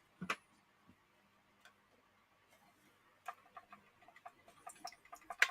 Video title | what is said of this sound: just a test TURNED LIVE STREAM | You can hear the water sloshing inside.